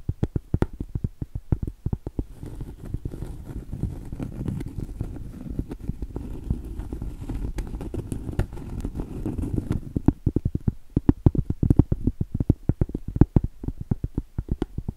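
Long stiletto acrylic nails tap rapidly on the surface and edge of a round, solid cork trivet, producing dense, dull, low clicks that die away almost instantly. Through the middle of the clip, a steady, soft rasping layer runs under the taps before it drops away and the sharp, separate taps return.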